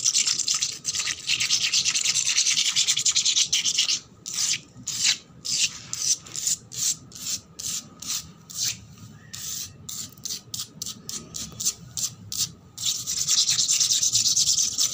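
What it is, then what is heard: Wet concrete floor scratched with nails. Long black nails scratch fast across a solid, wet, painted concrete floor, making a bright, hissy rasp. A steady stretch of rapid scratching breaks into a run of short, separate strokes with quiet gaps between them, then returns to continuous scratching at the end.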